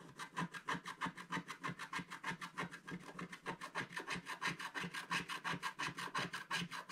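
A wooden stylus scratches clouds into the top of a flat, black-coated scratch-art paper sheet, leaving scraped debris beside it. About forty quick, bright rasping strokes come in a steady back-and-forth rhythm of roughly three per second, each with a faint low tone near 170 Hz and almost no ring after it.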